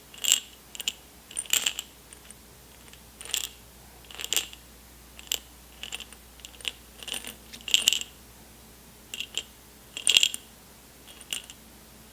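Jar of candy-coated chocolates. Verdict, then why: Full. An airtight jar full of M&M's, unopened since they were taken from a backstage lounge, is shaken and handled. The candy-coated chocolates rattle inside in short, bright, clicky bursts separated by quiet gaps, with a ringing high tone on the strongest shakes.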